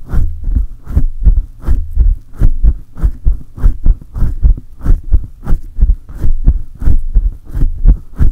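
Both hands grip a silver condenser microphone and rub its hollow metal mesh head rapidly with fingertips and palms. A fast run of deep, booming thumps pulses like a heartbeat, each with a brief scratchy hiss that reaches into the highs. The low rumbling throbs keep coming without pause throughout.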